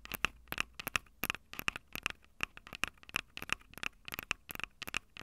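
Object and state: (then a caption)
Handheld audio recorder with metal microphone capsules. Long acrylic nails tap and scratch the two metal-grilled microphone capsules on top of a small, hollow, plastic-bodied Tascam DR-05 handheld recorder. About 27 sharp, bright, clicking taps with gritty scratches come in quick irregular bursts, each dying away almost instantly. They share a tinny ring near 2.6 kHz, with little low end.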